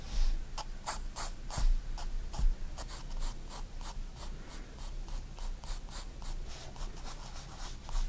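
A 4B graphite pencil held in the fingers draws long curved strokes across a spiral-bound white paper sketchbook lying flat on a wooden desk. Bright, dry scratching comes in a quick, uneven run of strokes over a faint low rumble, with a few louder scrapes standing out.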